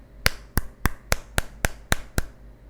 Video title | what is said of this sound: Harga 1.8 Jt udah dapat Performa & Battre yang Luar biasa - Xiaomi Redmi 9 Indonesia | Bodi belakangnya ini terbuat dari polikarbonat yang terasa banget sih feeling plastiknya, yang kalau kita ketuk bunyinya seperti ini.